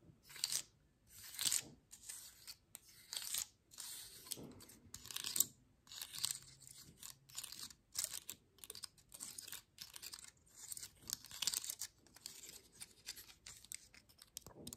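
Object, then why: Pine cone scales. Long nails scratch and tap the woody scales at the base of a dry, open pine cone turned to show its underside. It makes a steady run of short, dry, crunchy scratching bursts with a bright, crackly texture and almost no low end, each burst cutting off quickly between strokes.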